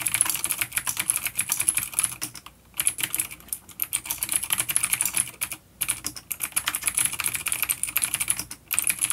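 Fingertips of both hands type on a full-size dark plastic vintage mechanical keyboard with clicky blue switches and grey keycaps, resting on a wooden desk. Fast bursts of sharp, bright clicks come with a few brief pauses, each keystroke dying away almost instantly.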